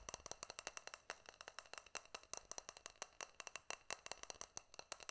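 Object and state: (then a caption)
Stainless steel tumbler. A small hollow stainless steel cup or tumbler, held in both hands, is tapped with fingertips and nails close to the microphone. About forty quick, dry, bright taps come in an irregular rapid stream, mostly high-pitched and clicky, with almost no ring after each one.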